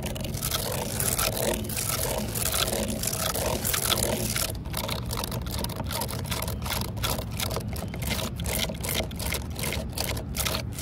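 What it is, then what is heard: Weathered wooden post. Long nails scratch and tap rapidly along the grain ridges of a solid, weathered, cracked wooden post outdoors. The first few seconds are a dense, continuous bright scratching, which then breaks into quick, dry taps separated by short gaps. A steady low rumble sits underneath throughout.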